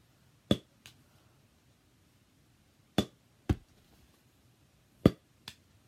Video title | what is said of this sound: What’s inside my baseball bag 2018⚾️ | it sounds like wood